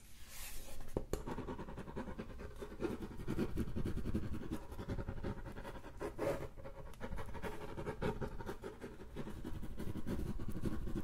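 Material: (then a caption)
Hardboard. Fingernails scratch and tap on the back of a thin, flat, solid brown hardboard clipboard. A steady, dense, dull scratching texture runs throughout, with quick taps mixed in that die away almost at once. The sound is weighted heavily toward low frequencies, with very little high-end brightness.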